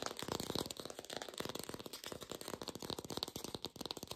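An artificial green apple with a stem, probably plastic, is fast-tapped with long pink nails. A rapid, dense run of short, dry clicking taps with a light rattling quality and bright upper edges, each tap dying away almost instantly.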